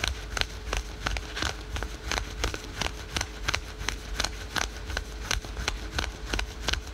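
Fingernails rapidly scratch the printed fabric of patterned spandex/polyester yoga pants worn over the knee. About 23 quick, dry, bright rasping strokes come in an uneven rhythm over a low, steady rumble, each one cutting off sharply with no ring.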